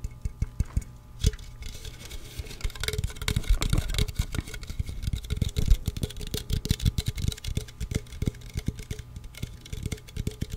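A hand-sized, hollow green Mountain Dew aluminum drink can is held close to the microphone and tapped rapidly with fingertips and nails. The taps are dense, short, dry knocks with a deep, boomy low end and light metallic clicks on top. They continue unevenly for the whole clip.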